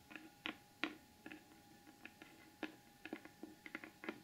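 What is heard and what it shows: Long almond-shaped acrylic nails tap and scratch across the lid of a large, closed, hollow rectangular cardboard gift box with a gold glitter finish and the Beauty Blvd logo. About fourteen quick, dry, hollow taps sound over a faint papery scratching, each with a mid-low body and a bright, crisp edge that dies away almost at once.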